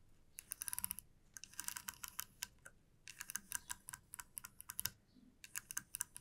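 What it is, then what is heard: Wooden comb. Long nails tap a flat, light wooden comb and strum its teeth, making quick bursts of sharp, bright clicks. The clicks come in several fast clusters separated by brief pauses, each dying away almost instantly with very little low end.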